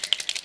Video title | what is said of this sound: Are You Feeding Me a Line? - January '24 Scrawlrbox Unboxing | there's a ball bearing in here